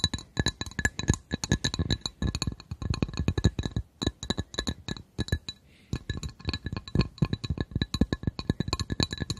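A glass coaster is tapped in rapid, irregular bursts of short, bright clinks with a thumping low end. Brief pauses interrupt the tapping, most clearly near the 4- and 5.5-second marks.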